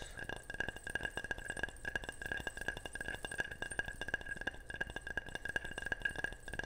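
Rapid, repeated tapping on a ceramic object makes a steady run of bright, short chinks and clinks with a clear ringing tone around 1.7 kHz. Each tap dies away almost at once.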